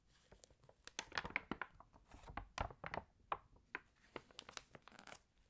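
Pages of an open glossy paper fashion magazine are flipped with long nails and smoothed flat with fingertips. A quick string of crisp, bright crinkles, tearing-like rustles and short clicks rises and falls with no ringing between them.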